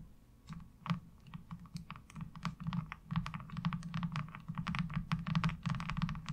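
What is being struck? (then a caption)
Thin plastic laundry washboard. Long acrylic nails tap and scratch a flat, thin, light blue plastic laundry washboard with a diamond-textured surface resting on dark cloth. Quick, uneven clicking taps come in a steady flurry, each with a dull low knock and a brief bright click that dies away almost at once.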